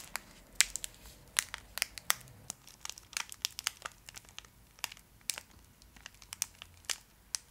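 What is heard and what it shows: A small, full Fry's Turkish Delight bar in a shiny foil wrapper is held close and scratched and squeezed with long acrylic nails, crinkling the wrapper. Quick, sharp, bright crinkles and crackles pop out irregularly over a faint background, with almost no low end and no ringing after each one.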